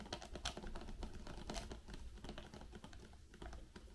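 A small white Raffaello cardboard box with candies inside is closed and tapped with long pink nails and fingertips. The result is a quick, irregular run of soft, dry clicks and muffled knocks over a steady low rumble, each tap dying away almost at once.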